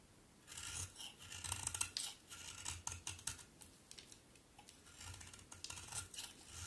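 A solid pink bar of soap, held in both hands, is scraped over and over with a utility knife blade. Quiet, dry, bright rasping strokes come in uneven bursts, each with a faint soft low thud beneath. The shavings scrape off in short crisp passes with almost no ring after each one.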